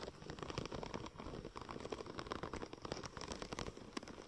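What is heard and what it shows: Long nails of both hands scratch and tap rapidly across a curved, silver checker-plate-pattern vinyl wrap sheet. The result is a dense, crackly patter of short, dry clicks with a bright scratchy texture that keeps going without pause.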